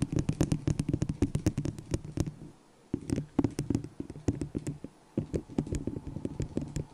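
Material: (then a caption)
Plastic. Long acrylic nails tap fast on a small, hollow, empty white disposable plastic cup held over the microphone. Rapid clicky taps with a hollow, boxy low-mid resonance come in bursts, broken by two short pauses.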